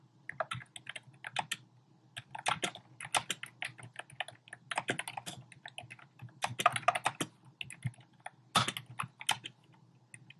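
Fingertips with short painted nails type rapidly on a compact keyboard with a black plastic frame and round pink, orange and cream plastic keycaps, set on a desk. Bursts of quick, bright plastic clicks come in uneven clusters separated by short pauses. Each tap stops almost instantly, with a faint low hum underneath.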